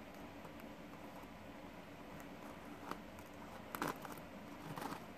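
Fingertips and nails scratch and flick across the pin bristles of a green plastic paddle hairbrush held in one hand. Soft, scattered scratchy ticks sit over a quiet, steady hiss with a faint low hum. They build to a brighter, crackling burst of flicks near the end.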